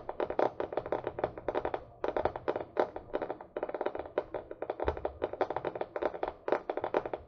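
Long nails tap rapidly on the back cover of a small, solid paper book held upright, with a paper and cardboard cover. The result is a steady stream of quick, dry, mid-pitched clicks that die away almost at once, in uneven bursts with brief pauses.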